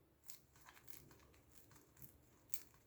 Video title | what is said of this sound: ✨ Krachel Brioche Marocaine🌙 Ramadan 2021 ✨ | j'ai réchauffé, vous entendez? Ça croustille.